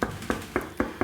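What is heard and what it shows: Five knocks on the wooden body of a 1974 Fender Stratocaster solid-body electric guitar, showing that even a solid-body guitar has acoustic properties. Each knock is a short, dull thud with a low resonant tone around 220 Hz that dies away almost at once.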